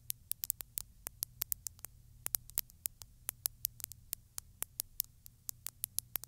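Long stiletto nails tap and scratch the surface of a textured glass bottle full of small beads, seen close up. About 35 quick, dry, bright ticks land in an uneven rhythm, each dying out almost instantly. A faint low hum and soft hiss sit underneath.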